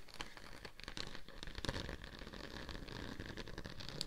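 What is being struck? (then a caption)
Embossed plastic sheet. A thin, flexible pink-purple holographic plastic sheet with a raised scale/diamond embossed texture, draped over a binaural dummy head microphone, is scratched with long acrylic nails, both fingertips and nail tips. The sound is a steady, quiet, dense patter of crisp scratching and rustling, with sharp clicks standing out now and then.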